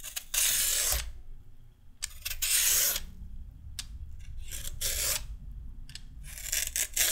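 A red-handled peeler with a metal blade scrapes repeated strips off a single whole raw orange carrot, solid and about hand length, held over a wooden table piled with shavings. Each stroke gives a bright, airy rasp in uneven bursts, with quieter gaps and low handling rumble between them.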